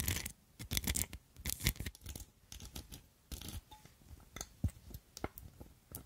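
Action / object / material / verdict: tap / glass perfume bottle with metal filigree overlay / metal, glass / none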